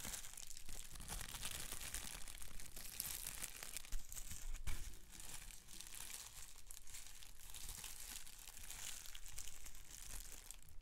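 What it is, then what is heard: Plastic bubble wrap. A large sheet of clear plastic bubble wrap with big air bubbles is held up while fingertips squeeze and pop the bubbles and crinkle the sheet. A steady, bright crinkling runs throughout, broken by scattered sharp pops, with the loudest pops near the middle.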